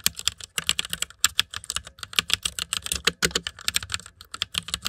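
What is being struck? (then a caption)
Plastic mechanical computer keyboard. Fingertips type fast on the keycaps of a white plastic mechanical computer keyboard, making a rapid run of around thirty sharp, bright clicks with short pauses between bursts. Each keystroke clacks crisply and dies away almost at once, with little low-end body.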